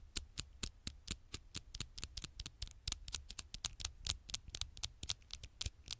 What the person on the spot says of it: tiny taps on the screen